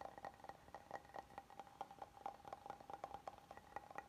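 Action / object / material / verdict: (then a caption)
tap / oval wooden serving board / wood / none. A flat, oval, solid wooden serving board with oak grain is held in both hands while fingertips and nails tap and scratch its face and edges. A rapid, uneven series of light, dry taps carries a woody tone near 800 Hz, with faint scratching between them. Each tap dies away almost at once, and the overall level stays quiet.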